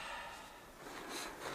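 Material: Nothing is struck.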